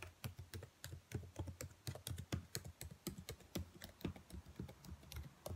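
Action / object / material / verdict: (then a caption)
tap / plastic laptop keyboard / plastic / none. Long white nails tap and type across the rows of black plastic laptop keys. The result is a quiet, rapid, uneven run of short clicks, each with a soft low thud under a bright, crisp tick, decaying almost instantly.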